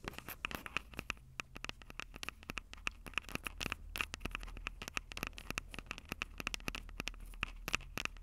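Long purple nails scratch and tap the two small metal-mesh condenser capsules on top of a black plastic Tascam DR-05 handheld recorder, the same recorder capturing the sound. A rapid, uneven run of sharp, dry clicks and scratches sits over a faint steady tone near 2.6 kHz and a low hum, with each hit stopping instantly and no ring.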